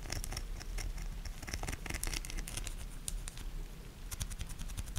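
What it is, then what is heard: Soap bar scratched with nails. A solid pink soap bar with ribbed sides is scratched with long nails while held in hand. Quick, dense bright scratches and ticking clicks run over a low, steady rumble for the whole clip.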